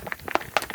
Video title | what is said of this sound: How To Make Your Own Liquid Colorants | shake it until you hear those ball bearings rattling around